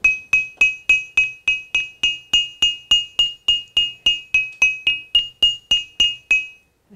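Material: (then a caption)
Stone. A long, solid, gray-green cylindrical stone lithophone, lying on a table among other lithophones, is tapped along its length with a small handheld stone striker. It gives 23 evenly spaced, bright, bell-like pings, each centered near 2.5 kHz with a higher overtone and a quick decay. The clip ends with a faint low knock.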